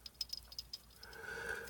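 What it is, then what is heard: Loose rattling fidget spinner cap. A GAW and Spinetic Y+ fidget spinner with a hollowed-out cap is spun and handled, giving about seven quick, bright, clicky rattles followed by a steadier high whirring hiss. The rattle comes from too much play in the loose cap, making it sound cheap, unlike other caps that do not rattle.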